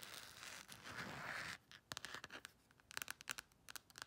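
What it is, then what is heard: Plastic phone case. Long nails scratch across the textured back of a thin, hollow black silicone/plastic phone case with an embossed colorful print, making a steady, bright rasping for about a second and a half. This is followed by quick, sharp, dry taps in short clusters, each dying away almost instantly.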